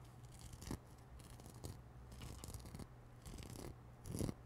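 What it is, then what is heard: Knit nylon shower glove. Long manicured nails scratch and rub across a grey-white knit nylon exfoliating shower glove, soft and hollow, worn on one hand and held up close. The result is soft, dry, bristly scraping in uneven bursts over a low, steady hum, with a few louder rubs toward the end.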